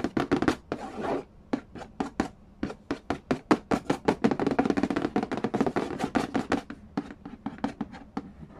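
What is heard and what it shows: Fingertips and nails rapidly tap and trace across the printed lid of a large, flat, hollow cardboard Game of Life board game box. Quick, dry taps with a hollow low-mid tone and bright nail clicks fall in fast irregular bursts, with brief scratchy brushing strokes between them. Each tap dies away almost instantly.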